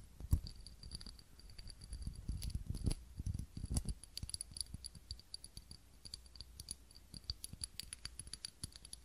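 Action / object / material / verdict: tap / ribbed glass candle holder / glass / none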